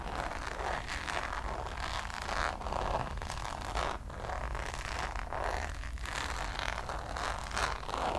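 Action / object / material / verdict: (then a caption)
scrape / coated canvas zip pouch / coated canvas / none. Long nails scratch across the surface of a checkered coated-canvas Louis Vuitton zip pouch held upright. The result is a steady, dry rasping with a bright midrange texture over a faint low rumble, with brief pauses between strokes.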